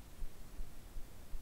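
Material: Nothing is struck.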